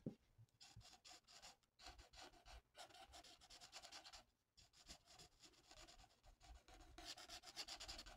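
A felt-tip marker rubs back and forth across a thin, flat paper coloring sheet as a mandala is colored in. The sound is a steady run of soft, dry, bright scratchy strokes with a few brief pauses, and the last second is noticeably brighter.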